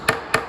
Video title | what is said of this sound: Gluing the top | tap it down just until you hear it solid right there it's not going any further